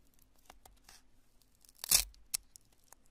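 A small, solid, porous lump of cured polyurethane spray foam is pinched, crushed and torn with fingertips and long nails. Faint, scattered crackles lead into a loud, bright tearing crunch, then a second sharp snap. The sound is almost entirely high and crisp, with little low end and very short decay.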